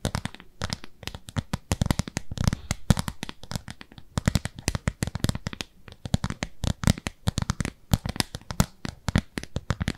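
Long nails scratch a round, pale pink textured silicone cleansing pad, solid and palm-sized, held upright. A rapid, uneven stream of dry, crackly scratches and clicks runs for about ten seconds, with a soft low thud beneath each stroke. Every sound stops short with no ring.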